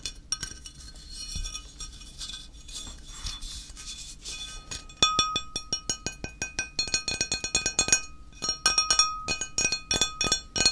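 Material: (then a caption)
Ceramic. A flat, solid, square grey ceramic tile is held in the hand while fingertips and short nails tap and scratch its face and edge. Soft scratching and light clicks in the first half give way around the five-second mark to louder, sharper, bright clinking taps in an irregular rhythm. Each tap is crisp and dies away almost at once, with a faint ringing tone under some of them.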